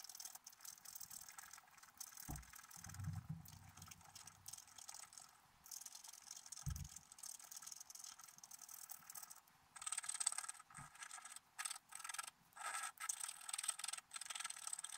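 A wooden stylus scratches fine lines into a black-coated scratch-art paper card held flat by one hand, revealing a squirrel among colorful autumn leaves. Dry, bright scratching rasps on in quick bursts with brief pauses, and a few soft low thumps come through early on.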